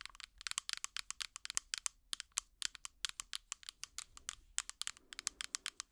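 Plastic finger picks rapidly tap a small, clear plastic tub with an orange lid that is hollow and apparently empty. About 39 quick, dry, bright clicks come in an uneven rhythm at a quiet level, each stopping at once with no ring.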